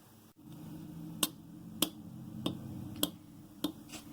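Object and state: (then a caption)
Fully cured epoxy putty. Cured epoxy putty used to mend a knitting tool is tapped five times, each tap a sharp, short click with almost no ring over a steady low background hum. The crisp tap shows the putty has fully hardened and the repaired tool is ready to use; uncured putty does not make this sound.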